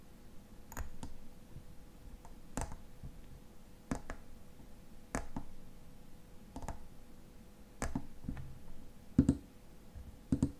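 Fingernails tap the silver metal cap of a tall frosted glass lotion bottle, producing quiet, sharp clicks at an irregular pace. Each tap is dry and dies away almost instantly, with a couple of louder taps near the end over a faint steady hum.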